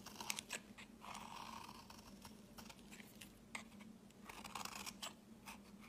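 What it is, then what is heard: Bar soap being scraped. A utility blade scrapes fine shavings from a solid pale green rectangular bar of soap held in the hand. The result is a run of short, dry, bright scratching and crunching strokes over a faint low steady hum.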